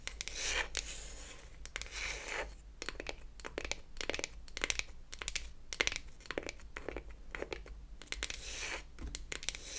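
Long acrylic nails scratch and tap the flat beech-wood back of a closed wooden toy eyeshadow palette held in the hands. Soft, bright scratching opens the clip, then gives way to a quick series of crisp, dry taps that stop almost instantly, mixed with more scratching. A faint low hum runs underneath throughout.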